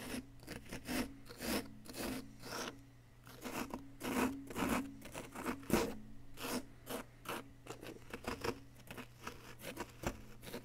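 A pointed wooden stick scrapes and chips at a solid, palm-sized, yellow-green chalky plaster dig-kit block held in one hand, with loose plaster powder around it. The result is a series of short, dry, gritty scraping strokes and small chipping taps, rising and falling in bursts over a faint steady low hum.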